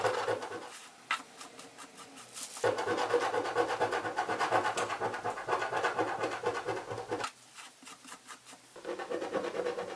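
A coin scrapes the scratch-off film along the top edge of a hollow cardboard box's lid while one hand holds the box, making a dry, rapid, rasping scratch with a mid-range tone. Dense scraping runs in bursts, easing to quieter, sparser strokes around the second and eighth seconds before picking up again.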